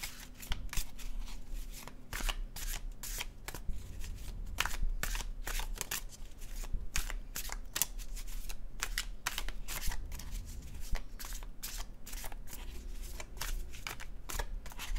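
A dark blue cardstock paper tarot deck is overhand shuffled by hand for about fifteen seconds, its card edges flicking in quick, crisp, papery bursts that reach bright highs. A steady low hum runs quietly underneath the whole time.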